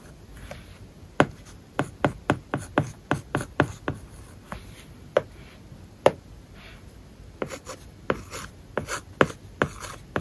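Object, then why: Plastic stylus on matte plastic film over tablet glass. A plastic stylus writes large characters on an iPad screen covered with a matte plastic paper-like film over solid tablet glass. Short, sharp scratching taps and strokes come in quick irregular bursts, each dying away almost at once over a quiet background.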